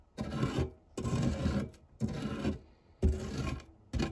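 A silicone spatula scrapes and rubs the textured base of a fluted non-stick metal tart tin scattered with crumbs. Five separate rasping strokes, each lasting about half a second, carry a gritty, low-heavy scrape with short pauses in between.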